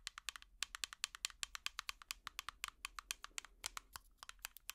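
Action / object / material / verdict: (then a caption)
tap / small plastic tub tapped with plastic picks / plastic / none. An empty small clear plastic tub with an orange lid is tapped rapidly with plastic finger picks. About 36 quick, dry, bright clicks come in an uneven rhythm, each cutting off almost at once, over a faint low hum.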